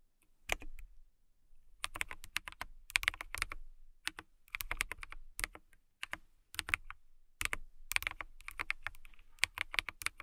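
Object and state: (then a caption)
Plastic mechanical keyboard. A clear plastic mechanical keyboard with transparent keycaps is typed on by long-nailed fingertips. The sound is a steady stream of quick, bright clicky taps in irregular bursts with short pauses between them.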